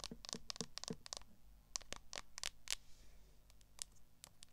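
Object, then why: Smartphone in a plastic case. Long nails scratch and tap the back and camera bump of a smartphone in a solid, transparent plastic case. The result is a quick run of short, bright clicks and scratchy strokes, each dying out almost instantly, over a low, quiet background.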